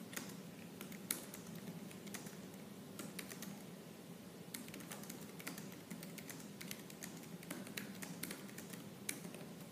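Fingertips with purple nails type fast on the black plastic keys of a silver laptop. A quick run of light, bright clicks and taps sits over a steady low hum, with a few sharper, louder key strikes standing out.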